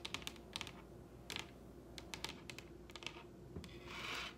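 Long red-painted nails on both hands tap rapidly on the top of a large, solid wooden dining table. Sharp, bright clicks come in quick clusters over a low steady hum, and a short scratchy rub ends the clip.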